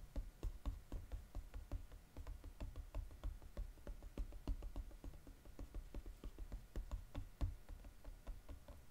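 Fingernails tap and scratch quickly on the glossy gold-coated underside of a flat paperboard chocolate box. About thirty soft, dull taps with very little ring come in a fast, uneven run, with faint scratching between them.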